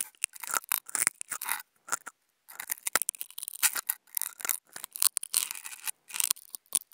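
A flat white non-woven fabric sheet is scratched with two wooden toothpicks held close together. It makes dry, bright, crackly scraping bursts in irregular runs with short pauses between them, and there is almost no low end.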